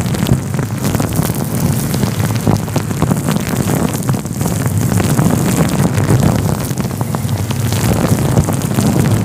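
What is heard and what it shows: A fluffy grey-white synthetic faux fur windscreen covering a microphone is rubbed with the fingertips. It makes a steady, dense, rumbling rustle with crackly scratches throughout, heavy in the low end and at a fairly even loudness for the whole clip.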